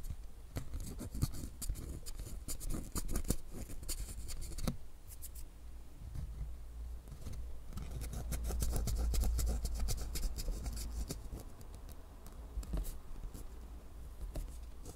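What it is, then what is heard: Printed cardboard card scratched and tapped. Long manicured nails scratch and tap the circles on a small, thin, flat printed cardboard game card for a Stranger Things maze game, held in both hands. Quick, irregular bright clicks and dry scratching come in clusters over a steady low rumble, with a denser, louder stretch around the middle.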